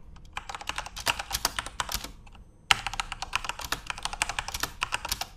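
Both hands type rapidly with their fingertips on a Corsair mechanical computer keyboard with plastic keycaps and an RGB backlight, resting on a desk. A fast stream of sharp, bright, clicky keystrokes with little low end and almost no ring is heard, centred around 2.9 kHz. The typing breaks off briefly at about two seconds, then resumes with a loud strike and continues just as quickly.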